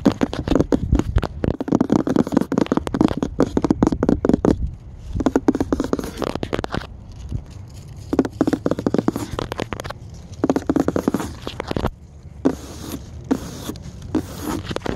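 Fingertips and nails tap and scratch quickly on the surface of a solid white-washed wooden plank sign with black script lettering. The result is dense bursts of dry, dull tapping and scratchy rasping, broken by a few short pauses.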